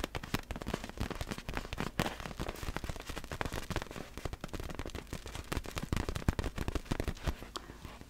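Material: Vinyl.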